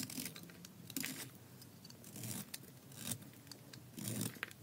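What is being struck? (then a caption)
Bar of soap cut with a metal blade. A thin remaining slab of tan dry soap, held in the hand, is shaved with a metal utility blade in short scraping cuts. Dry, crumbly scrapes and crunches come in bright bursts over a soft low rustle. A few longer, louder strokes stand out along the way.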